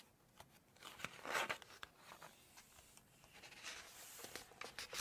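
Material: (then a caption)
Coated paper. Long nails scratch the glossy paper pages of a large hardcover Chinese cookbook, then turn a page with a bright rustling swish and scratch again. The sound is a quiet mix of crisp, high-pitched scrapes and short papery crinkles with almost no low end.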